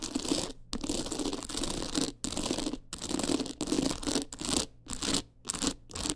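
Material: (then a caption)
Rhinestone. Long nails scratch quickly across the stones of a teal rhinestone-studded clutch wallet with a gold frame. Dense, gritty rasping comes in bursts separated by brief silent gaps. The scraping has a bright, crackly top and a faint low-mid tone running through it.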